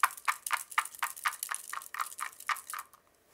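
Colorful feathers with soft tops and firm stems are shaken inside a capped blue plastic tube, producing a quiet, steady series of light tapping clicks, about four per second, as the stems strike the tube. The result is a soft, dry, midrange rattle that stops abruptly after about three seconds.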